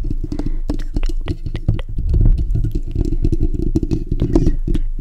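Fingertips and short nails of both hands scratch the bare steel wire-mesh grille of a black desktop condenser microphone's hollow dome. It makes a continuous, boomy low rumble full of rapid, dry scratching clicks and crackles, with almost all the energy in the deep low end.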